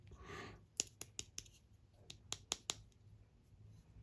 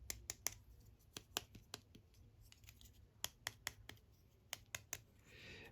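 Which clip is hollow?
The second.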